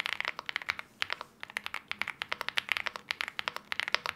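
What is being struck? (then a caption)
Aluminium-cased mechanical keyboard with plastic keycaps. A LEOBOG Hi75 75% mechanical keyboard with an aluminium case, KTT Wine Red linear switches and wine red plastic keycaps sits on a desk mat while both hands type on it steadily with their fingertips. A rapid run of crisp, bright key clicks is heard with almost no low end, each tap dying away instantly.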